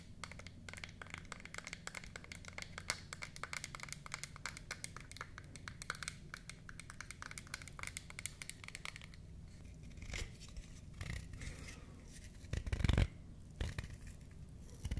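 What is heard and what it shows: Long nails rapidly scratch and tap on a small solid-wood toy eyeshadow palette with a mint-painted lid, making a dense, dry clicking patter with a low body and short, bright ticks. The tapping thins out into scattered taps, and a louder wooden clack near the end comes as the palette is opened.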